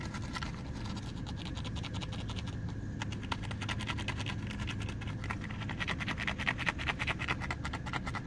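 A lightweight athletic or water shoe with a perforated synthetic mesh upper and a rubber sole is held in the hands and scratched with fingernails along the upper and sole. The result is a fast, uneven run of dry, raspy scratches with a bright edge over a steady low rumble, growing a little louder and busier toward the end.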